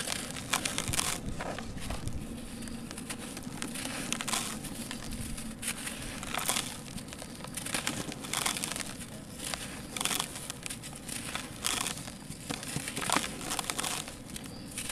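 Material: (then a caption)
Sand-cement. Dry, grainy, solid grey sand-cement lumps in a plastic basin are crushed and crumbled between the fingers of both hands as powder pours down. Dense, bright crunching and crinkling crackles run throughout, with sharp gritty bursts over a low, rough rustle.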